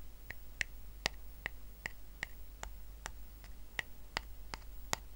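Fingertips and short nails scratch the weave of a small, round, flat woven rattan coaster resting on a blanket. About 12 sharp, dry clicks and ticks come at a roughly steady pace, each bright and dying away almost instantly, over a quiet low hum.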